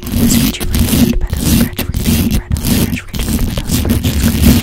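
Long pointed acrylic nails scratch and tap aggressively on the hollow metal mesh grille of a black condenser microphone. The result is a fast, dense, rasping scrape with a heavy, boomy low end and a steady low hum, broken only by a few brief pauses.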